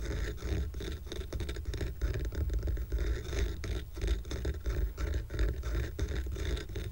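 Medium-length fingernails on several fingers scratch the top surface of a small square stack of solid painted wooden coasters decorated with a red heart. The result is a dense, continuous, irregular scratching with quick rasping strokes and a heavy low rumble underneath, holding a fairly steady level throughout.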